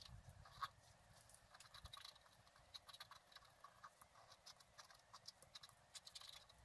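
A wooden stylus held in the fingers scratches lines into the coating of a flat, thin, solid black-coated scratch art card lying on a table. The result is quiet, bright, dry scratching in short bursts of strokes, with one sharper scrape near the start.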